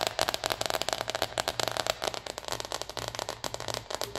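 Long red nails rapidly scratch and tap the coated synthetic surface of a small red cosmetic zipper pouch with a white dotted circle print, held in both hands and filled with something soft. It makes a dense, bright, crackly stream of dry scratches and short ticking taps that stop almost instantly, with no boom or low end.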